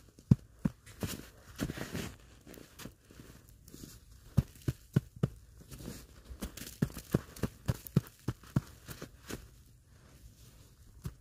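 A large, solid ball of packed snow held against the lap is patted and rubbed by knit-gloved hands. Short, muffled, low thumps land in an irregular series over soft, crunchy scraping and crinkling.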